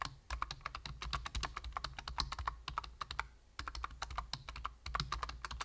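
Fingertips of both hands tap rapidly on the plastic keys of a full-size black plastic computer keyboard with a hollow body. The result is a dense run of short, bright clicks over a low, steady hum, with brief pauses near the middle and toward the end.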